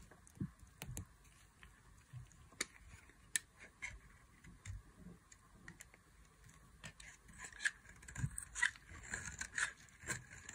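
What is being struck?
Soap bar.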